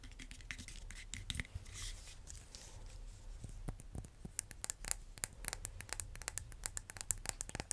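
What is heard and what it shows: A solid red vinyl-coated hand dumbbell with black rubbery rims is tapped with fingernails and fingertips. The result is a run of quick, sharp, dry clicks and scratchy taps with bright highs, over a low steady hum. The taps come sparse at first, then turn dense and crisp toward the end.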